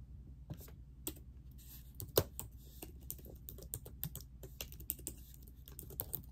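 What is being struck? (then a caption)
Plastic laptop keyboard. Long nails and ringed fingertips type on the plastic keys of a laptop keyboard set in a silver laptop body, producing steady, crisp key taps with bright clicking edges. The tapping runs over a constant low hum, with one sharper, louder tap standing out partway through.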